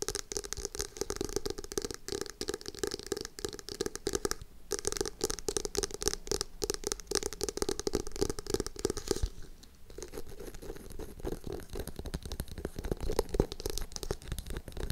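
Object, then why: Hardcover cardboard and paper notebook. Long acrylic nails rapidly tap and scratch a small, solid dark blue hardcover notebook with a printed cardboard cover and its page edges while it is held upright in both hands. The result is a dense, continuous stream of short, dry clicks and scratchy rustles with a hollow tone around 400 Hz and bright scraping texture on top. The sound briefly thins near the middle and again just after nine seconds.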